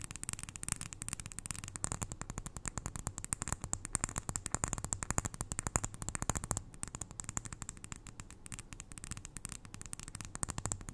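Long nails tap rapidly on the glass sides of a small glass jar filled with white granules, held close to the ear. The result is a dense, continuous stream of short, dry clicks with a soft low thump beneath bright ticking, each tap dying away instantly.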